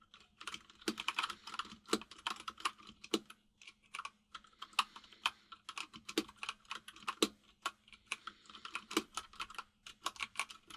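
Fingertips of both hands type on a full-size mechanical keyboard with white and grey plastic keycaps, producing quick bursts of short, bright, clacky keystrokes separated by brief pauses. Each click is crisp and dies away almost instantly, over a faint steady low hum.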